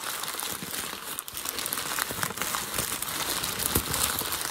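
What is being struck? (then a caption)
Packing paper sheet. A hand presses and then crumples a creased grey sheet of packing paper. The result is a steady, bright crinkling with irregular sharp crackles throughout.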